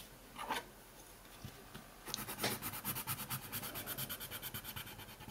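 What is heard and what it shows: A dark colored pencil held in the fingers is rubbed and scratched across a thin printed coloring sheet lying on a wooden table. After a lone scratchy stroke and a quiet pause, the pencil settles into a rapid, steady run of back-and-forth strokes. These give a dry, bright, papery rasp that fills the rest of the clip.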